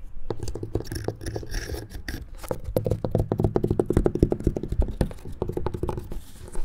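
A small handheld tool scratches and taps the grey weathered wooden planks of a large, solid outdoor picnic table. The result is a rapid, uneven patter of short, dull knocks mixed with scraping. The sound is heavy in the low end and each tap dies away almost at once.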